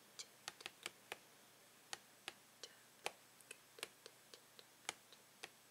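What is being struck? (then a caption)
Plastic blister package. Fingernails tap and click on the plastic blister package of a Tangle toy, making seventeen sharp, bright clicks in an irregular rhythm. Each click is dry and stops almost at once, over a quiet, low background.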